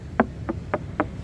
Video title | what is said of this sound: Naglalakihang Bangka siksikan na Dito gawa ng parating na bagyo | Talagang malutong na malutong yung tinuktok natin na walang lambat